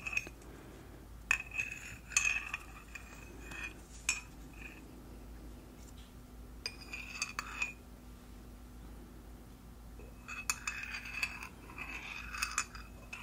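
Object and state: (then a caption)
Ceramic mug stirred with a metal spoon. A thin metal spoon stirs tea inside a small white ceramic mug with a flamingo print, which sits on a towel beside an untouched teapot. The spoon clinks against the mug's inner walls in scattered bursts, giving bright, short rings around 2.5 kHz over a low, steady background hum.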